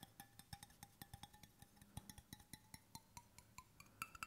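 Fingertips tap the flat bottom end and the side of a hollow stainless steel water bottle held at an angle, making 28 quick, dry taps with a short metallic ring around 1.3 kHz and bright overtones. The taps come in a steady, fairly even rhythm with a few louder strikes, each dying away almost immediately.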